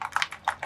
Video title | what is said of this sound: Mark Making & IZINK Dye Spray Demo! Plus working with Golden Black Sumi Ink on various papers! | there's a ball in there that you want to shake until it releases